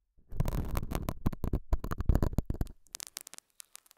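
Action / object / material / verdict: scrape / felt pad scratched with a metal hook / felt / none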